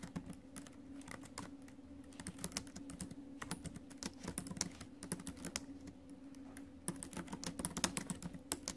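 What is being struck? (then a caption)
Laptop keyboard with plastic keys in a metal body. Fingertips and acrylic nails type on a silver metal laptop's plastic chiclet keys, producing a rapid, uneven stream of sharp, bright clicks and taps. The clicks stay quiet and short, over a steady low hum that runs under the whole clip.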